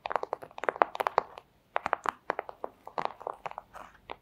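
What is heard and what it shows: The tips of long acrylic nails tap quickly and irregularly on a flat, thin, clear plastic pouch. Each tap is a short, dry crinkly click, centered in the midrange with a bright edge. The run pauses briefly just before halfway, then picks up again and softens toward the end.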